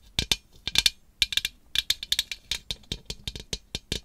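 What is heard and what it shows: Long acrylic nails tap a large hollow iridescent glass globe lamp with bat decals, resting on a black base and held in one hand. About twenty quick, bright clicks come in irregular bursts, each with a high glassy tick and almost no ring.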